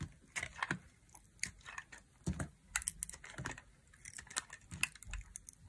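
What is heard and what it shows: A solid, dry white bar of soap, held in the hand, is cut into thin crisp slices with a thin black blade, and the slices snap off. A quick run of short, dry, crunchy cuts and snaps comes one after another, each bright and sharp with a soft low thud and almost no ring. Quiet gaps fall between them.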